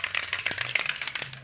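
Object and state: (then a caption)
Well-mixed aerosol paint can. An aerosol can of stone chip coating, used for a Jaguar XK8 sill repair, is shaken so its mixing ball bearing rattles freely inside in a quick series of bright, high-pitched metallic clicks. The free rattle shows the can is properly mixed and the paint is nice and loose.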